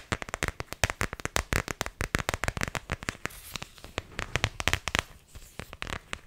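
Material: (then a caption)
Plastic. Long nails rapidly tap and scratch on an empty, thin plastic iPhone X case with a neon green rubbery bumper and a leopard-print back. A fast string of dozens of sharp, dry clicks with almost no ring is heard, thinning briefly into softer scratching before the tapping picks back up.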